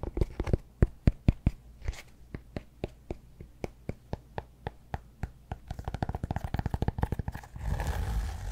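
Fingernails tap on a solid cork yoga block held up in the air, producing short, dry, dull clicks that start spaced out and then quicken into a rapid run. The taps end in a rougher, continuous scratching of the cork surface.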